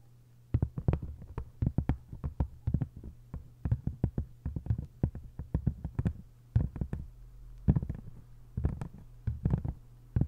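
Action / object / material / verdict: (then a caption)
tap / hardcover book with textured paper cover / paper, cardboard / none. Long nails tap and scratch on the textured paper cover of an open hardcover book. Many quick, dry, mostly low taps come in clustered bursts with brief pauses, over a steady low hum.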